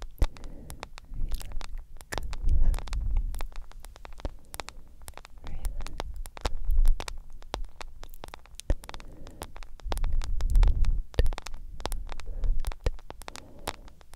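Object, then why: Smartphone with glass screen in silicone case. Long acrylic nails tap the black glass screen and yellow silicone case of a hand-sized smartphone. Quick, crisp clicks sound out in dense, uneven bursts, each dying away almost at once. Soft, low, rumbling swells rise and fall beneath them.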